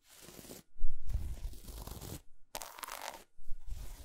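Long acrylic nails scratch and tap across an unwrapped, solid dark chocolate bar with a patterned, segmented surface, lying on a fuzzy towel, while two loose chocolate squares nearby stay untouched. The sound comes in short bursts of dry, crunchy scraping over soft, dull low thumps, with brief silences between them.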